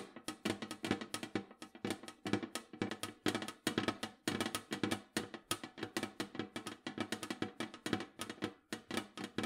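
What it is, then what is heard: Metal cookie tin tapped with nails. Long nails tap rapidly on the lid and rim of a large, round, printed metal cookie tin that is hollow with its lid on. Dense, quick clicks carry a hollow tone around 316 Hz with bright edges, each dying away almost at once in a steady, fast rhythm.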